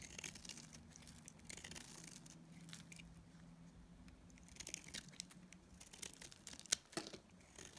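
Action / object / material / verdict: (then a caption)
scrape / bar of dried soap / soap / none. A palm-sized solid teal and cream bar of dried soap is shaved into thin curls with a metal utility blade. Quiet, bright scraping and crisp cutting strokes run in an irregular series, with a steady low hum beneath. Several sharper cuts stand out near the end.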